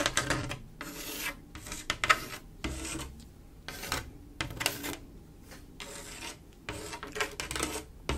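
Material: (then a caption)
Glass. Long acrylic nail tips scratch and rub across a flat mirror-glass mosaic tile picture, a panel of silver mirror-glass tiles set in grout. Bursts of bright, raspy scratching alternate with short quieter gaps, with occasional sharp clicks as the nails catch the tile edges.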